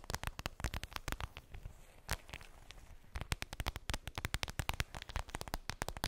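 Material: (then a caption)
Vinyl. Long pink nails tap and scratch a flat, transparent PVC makeup pouch with a daisy print and a zipper, lying on fluffy fabric. Dozens of quick, dry clicks with crinkly scratching between them, short and bright with a soft low thump. The tapping thins into quieter scratching for a stretch midway, then returns in a denser, faster run.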